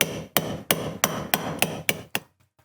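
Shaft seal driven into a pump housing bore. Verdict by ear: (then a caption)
Seated. A lip (SPI) shaft seal for a BMW K-series oil/water pump is tapped gently and dry into its bore in the pump housing using a socket and hammer, giving eight short, sharp, bright knocks with almost no ring. The taps shift from a softer sound to a drier one as the seal reaches the bottom, showing it is fully seated, so tapping must stop there because the part is plastic.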